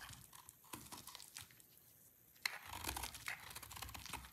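A solid, dry green soap bar is shaved and carved with a snap-off utility knife blade, and sticks of soap break off. Quiet, irregular scraping and crisp crunching fill the clip, with a sharp snap near the middle followed by denser, brighter crumbling.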